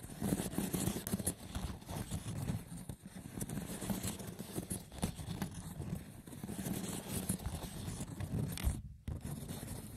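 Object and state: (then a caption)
Woven seagrass wicker box. Fingertips with short nails scratch and tap the woven top of a hollow, braided seagrass wicker box. The result is a steady, rough, low-heavy scratching with soft taps mixed in, and a brief pause near the end.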